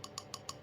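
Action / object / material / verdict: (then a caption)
tap / orchid pot with potting medium / unknown / dry. An orchid pot holding potting medium is tapped four times, showing how it sounds when the medium is dry. Each tap gives a short, hollow knock with a ring around 1.1 kHz that fades almost at once. The hollow sound means the medium is dry and it is time to water.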